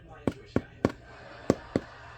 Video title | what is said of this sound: I made french bread!! 🍞 | tap it like that and it should sound hollow so our Bread's done